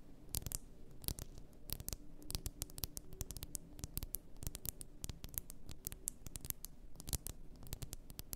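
Long nails tap quickly on the sides of an upright, full glass bath salt bottle. The result is a rapid, irregular stream of sharp, bright clicks with a scratchy texture over a soft low hum, each tap dying away almost instantly.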